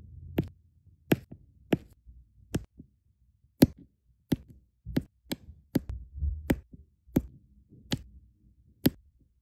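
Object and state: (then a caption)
Resin diamond painting drills tapped onto adhesive canvas. A plastic drill pen tip taps small solid resin rhinestone diamond painting drills onto an adhesive canvas. Thirteen light, sharp clicks ring out at an uneven pace, each a brief bright tick that dies almost instantly, over a faint low rumble.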